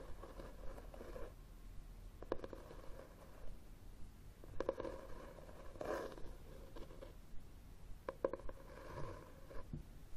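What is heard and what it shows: Fingertips and nails tap and scratch the cover of a red, textured, cloth-bound hardcover book held upright. Quiet, dry scratching runs throughout, with soft, short taps and brief clicks scattered at an uneven pace over a faint low hum.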